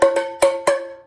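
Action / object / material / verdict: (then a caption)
tap / cardboard chip can with a hard end, struck with a wooden spoon / cardboard / none. A wooden spoon, used as a drumstick, taps the hard end of a cardboard Pringles chip can four times. Each tap is a short, hollow knock with a ringing tone around 550 Hz that fades between strikes. The can sounds drum-like, since a tube shape works like a small drum.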